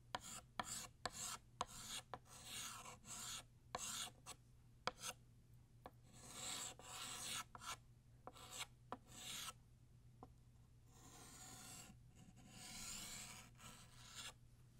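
A blue chalk stick rasps across a flat black chalkboard, drawing the bottom line of a banner. Short scratchy strokes alternate with longer, bright rubbing passes over a steady low hum, and the strokes grow longer and smoother toward the end.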